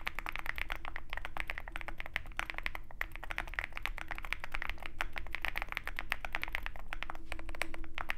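Fingertips of both hands type continuously on a Zoom65 65% mechanical keyboard with white MT3 PBT keycaps and a dark aluminum case, resting on a desk mat with a wooden wrist rest. Rapid, dense key clacks with a bright, short-decaying click centered around 2 kHz run steadily throughout over a low background rumble.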